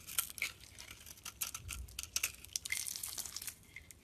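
A solid, pink glittery bar of soap held in the palm is shaved and scraped with a metal utility blade, producing white flakes. The clip is a quiet run of crisp, bright scraping and crackling strokes, almost all high in pitch with very little low end. Each stroke is short and dry, with no ring after it.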